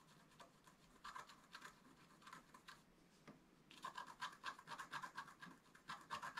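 A wooden stylus scratches fine lines into the upper right ornament of a wax-coated scratch-art paper card lying flat on a table. The strokes make quick, dry, bright scratching bursts with a high hiss. They are soft at first and grow louder and denser in the second half.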